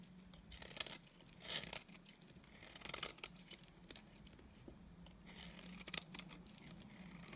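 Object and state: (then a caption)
Dry bar soap being cut. A utility knife blade cuts and scrapes strips off the surface of a solid, dry cream bar soap held in the hand. The result is a quiet, bright, crisp tearing and crackling with short scraping bursts, mostly high-pitched with little low end.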